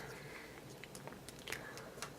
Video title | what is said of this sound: Green and Black Premium Bumper Case for Apple iPhone 4 - AT&T Review | you can tap the screen you can hear the buttons rattling